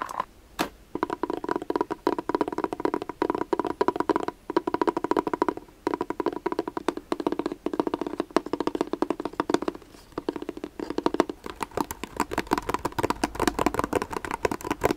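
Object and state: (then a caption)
Faux leather glasses case. A hard, dark gray glasses case with a faux leather (leatherette) cover and a Zoff logo is held closed in the hands and tapped quickly with fingertips and short nails. The result is a dense run of crisp, short, dry taps with a hollow mid-range tone, coming in bursts with brief pauses.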